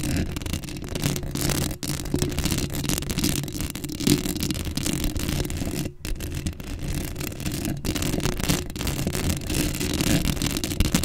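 Long acrylic nails on both hands scratch a black metal mesh microphone head up close. The result is a dense, continuous rasping scratch with a heavy low rumble and brighter hiss on top, broken by brief dropouts near 1.8 and 6 seconds.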